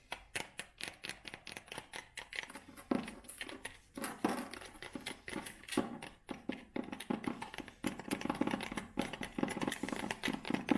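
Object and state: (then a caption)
Wooden cylindrical tube box. A long light-wood cylindrical tube box with a round label, likely hollow, is held in the hands and tapped and scratched with long nails. Quick, dry, hollow taps come in rapid clusters, mixed with short scratching sounds, each dying away almost at once.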